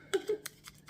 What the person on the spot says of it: you can hear it, it's wood. Hear that bit there, my nail, tapping my nail.